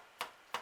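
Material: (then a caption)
Baked dough. Two quick, light hollow taps as freshly baked finger bun scones are flicked on the tray after 12 minutes in the oven. Each tap is a short, dry knock centered near 1 kHz that dies away almost at once. The hollow sound means the scones are baked through and ready.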